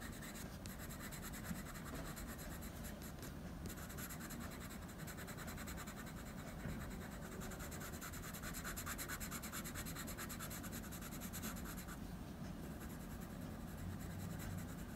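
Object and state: Drawing paper.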